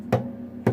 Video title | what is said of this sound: The Bass | if you tap it you can tell this hollow